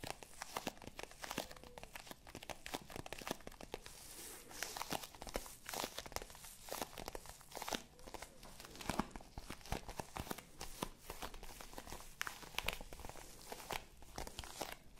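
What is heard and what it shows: Long nails of both hands scratch and tap a small, hollow black faux leather zippered hard-shell case held close to the microphones. The result is a dense stream of quick, dry clicks and crinkly scratching with bright, crisp edges. The taps are short and have almost no ring.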